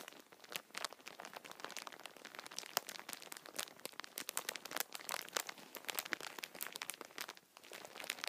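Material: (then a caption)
Plastic film. Fingertips squeeze and rub the clear plastic wrapper of a full, hand-sized multipack of Kinder chocolate bars held up close. A dense, continuous stream of bright, crisp crinkles and sharp crackles rises and falls with the handling, with no low end. Each crackle stops almost instantly, and the sound dips briefly near the end before picking up again.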